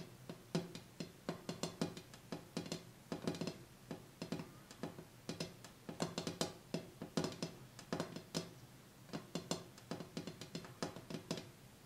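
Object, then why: Glass coffee table top. Light, fast taps on the bare glass top of a coffee table after the items on it have been cleared off, to hear whether the sound changes. Each tap is short and clicky, with a low knock around 170 Hz and a bright tick that dies away almost instantly. The taps come in quick uneven bursts throughout.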